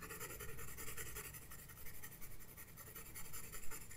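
A graphite pencil scratches strokes across a flat paper sketchbook page. The quiet, continuous scratching has a bright, papery hiss over a low rumble, rising and falling in loose, irregular strokes.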